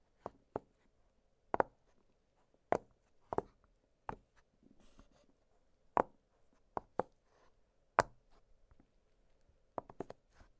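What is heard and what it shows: Two fingertips press and pop the hollow bubbles of an octagonal blue silicone push-pop fidget toy, giving 13 short, dry, midrange pops at irregular intervals. Soft rustling is heard between some of the pops in an otherwise quiet space.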